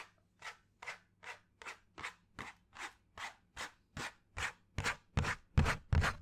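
A flat, hand-sized brown cardboard piece held up near the mic is scratched with fingernails, giving fifteen short, evenly paced raspy strokes. The strokes grow louder and fuller toward the end over a faint low hum.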